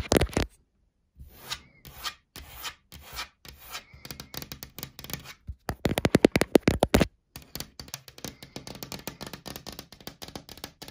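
Long black nails and fingertips rub and scratch across a large, flat, solid wood-grain laminated wardrobe door. Soft, dry strokes come in quick bursts with brief pauses, and the scraping turns denser and louder in the middle before settling back into lighter rubbing.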